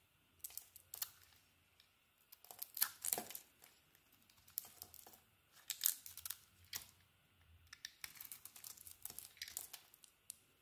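A metal utility blade shaves and carves a hand-sized solid soap bar, white at the core with a glossy purple heart-patterned surface, held in the palm. Quiet, bright, crisp scraping and crackling strokes come in short clusters separated by brief pauses, each scrape ending abruptly with no ring.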